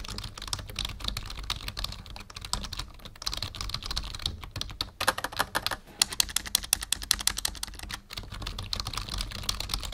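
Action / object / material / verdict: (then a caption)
tap / plastic membrane computer keyboard / plastic / none. Fingertips of both hands type steadily on a black full-size plastic membrane keyboard with a numpad, resting on a wooden desk. A rapid stream of short, bright plastic taps and clicks comes in uneven bursts with brief pauses, over a faint steady low rumble.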